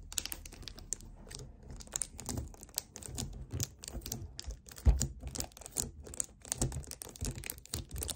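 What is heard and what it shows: Fingertips quickly tap, grip and scratch the sides of a hollow 1 L white plastic strawberry kefir bottle standing on a table. The result is a dense run of quick, dry clicks and scratches over soft, hollow low thumps, with bright crinkly edges and one sharper knock near the middle.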